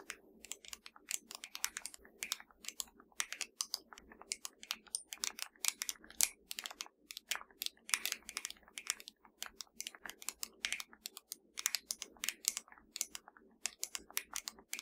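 Long dark nails of both hands tap rapidly on a slim, hollow black plastic Fire TV remote control lying flat. The result is a dense stream of sharp, dry, bright clicks with almost no ring and no low end, irregular like quick typing.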